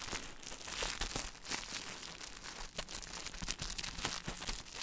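Fingertips with painted nails squeeze and rub a small, flat grocery item in a shiny, crinkly plastic or foil-like wrapper, held close to the microphone. The result is a dense, continuous, bright crinkling and crackling, with sharp snaps over a faint low hum.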